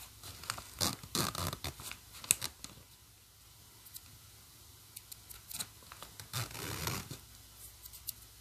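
Fingertips pull the metal slider of a black plastic coil zipper open and closed on a hollow green nylon bag. Bright, raspy zipping bursts and short ticks come in quick, uneven runs, with a quiet stretch in the middle before a longer, steadier zip near the end.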